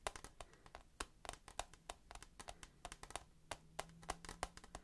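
Fingertips and nails tap quickly on the side and corner of a hand-held, rectangular clear plastic tissue box that is hollow and full of tissues. The result is a rapid, irregular series of short, dry, hollow clicks that die away almost instantly, centered around 730 Hz with bright upper edges. A faint steady low tone sits underneath.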